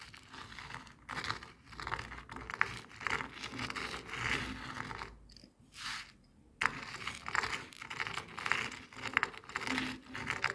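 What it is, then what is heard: Coarse bath salt crystals scraped on a plastic board. Coarse bath salt grains spread on a white and red plastic cutting board are rolled and scraped with a jade face roller. The result is a steady, bright gritty crackle of many tiny clicks and scrapes in uneven bursts. It goes nearly silent for a moment just after the midpoint before resuming.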